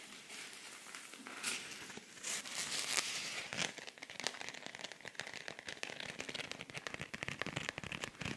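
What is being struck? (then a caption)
Rhinestone-covered cosmetic pouch. A silver rhinestone-covered cosmetic pouch with pink trim is held up in both hands while fingernails scratch and tap its beaded surface. The result is a dense, bright, crinkly scratching that breaks into a rapid run of sharp clicking taps, with little low end.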